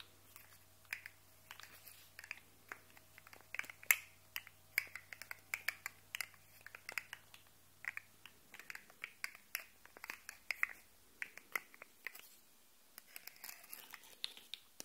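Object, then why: Segmented plastic fidget toy. A small, hollow, rainbow-coloured segmented plastic articulated slug fidget toy is held in one hand while the fingertips and nails of the other tap and scratch along its segments and flex them so they click. The result is a rapid, irregular run of sharp, bright, dry clicks and light scratchy taps that die away almost instantly. A faint low hum sits underneath for roughly the first half.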